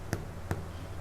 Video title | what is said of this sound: EPISOD 234 KOREAN CREAM CHEESE GARLIC BREAD | So kalau you knock dia, dia bunyi macam bunyi kosong, tu dah masak lah rotinya.